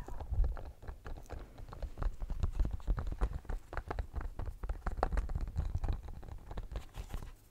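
Fingernails scratch and tap the studs of a pink, bumpy silicone studded pencil case held close to the mic. The result is a steady stream of quick, dry, muffled taps and scratchy rustles with a heavy low thump and almost no bright top end.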